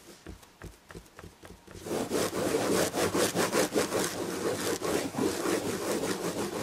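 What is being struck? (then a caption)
Fabric-upholstered chair back. Long red nails scratch quickly across the red and gold tapestry upholstery on a fabric chair back. Soft, separate strokes give way after about two seconds to louder, denser rhythmic scraping, a dry, bright rasp.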